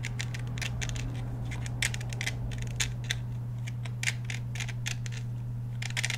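Fingernails tap and scratch the steel slide and polymer frame of a black Glock 17 pistol held close to the camera. Many short, bright clicks and scrapes come in irregular bursts over a steady low hum.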